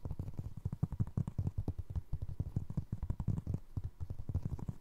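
Fingers scratch and tap the ridged tread on the sole of a single navy blue foam resin Crocs clog. The result is a dense stream of soft, dull, low thuds and brushing scrapes, each dying away almost instantly. No bright ring or high ring follows.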